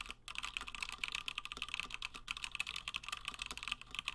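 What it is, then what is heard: Mechanical keyboard with PBT plastic keycaps. Both hands type continuously with fingertips on a 60% plateless through-hole Gingham mechanical keyboard with Gateron Black switches and cream and blue PBT plastic keycaps, resting on a desk mat. A rapid, dense stream of short, crisp, bright keystroke clacks centers around 2.3 kHz with very little low-end thump.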